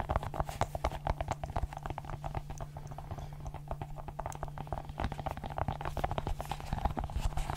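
A small multicolored silicone pop-it fidget ball with hollow bubbles is popped and pressed with fingertips and long nails. A rapid, continuous run of soft, dull pops and clicks with very short decay sits over a steady low hum throughout.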